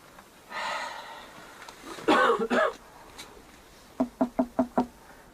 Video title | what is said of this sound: Arche Noah gefunden! DOKU Reupload 2020 | this is hollow right here it's hollow judging from the sound there was certainly a hollow space behind the wooden wall